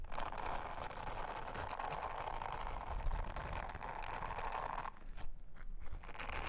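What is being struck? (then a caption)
Silicone honeycomb trivet brushed with a silicone scrubber. An orange silicone bristle scrubber is rubbed by long-nailed fingers over a flat, thin, round blue silicone honeycomb trivet. The result is a steady, dense scratchy brushing with a low rumbling body and a crackly midrange band. Near the five-second mark the sound briefly thins and dips before the rubbing picks back up.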